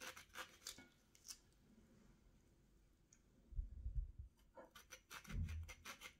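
A small steel kitchen knife is drawn along the thick rind of a hand-held orange with its top cut off, peeling it over a plate. Bursts of bright, crisp scraping strokes come at the start, then a quiet stretch. Low, muffled thumps follow, with more scraping strokes near the end.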